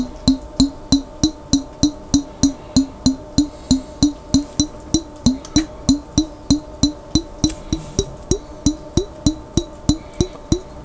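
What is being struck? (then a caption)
Glass jar containing water. A glass jar containing water is tapped in a steady, continuous run of 36 quick, resonant percussive taps at about three per second. Each tap has a short, woody knock with a clear pitch near 300 Hz and a faint higher glassy overtone.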